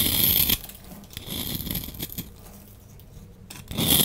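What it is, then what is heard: Bar soap being scraped. A solid lilac bar soap held in the hand is scraped with a utility knife blade, and powdery shavings fall away. Bright, crisp scraping bursts open and close the clip, with quieter, dry scratching in between.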